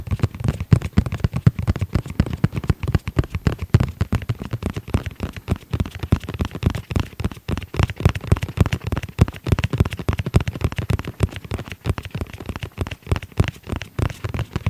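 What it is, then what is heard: Fabric-covered EVA hard-shell pouch. Fingertips tap rapidly and continuously on the fabric-covered shell of a medium, hollow black nylon-covered EVA hard-shell pouch with a red edge, held close to the microphone. Each tap is a short, dull, low thud with almost no ring, forming a dense, steady patter of soft knocks throughout.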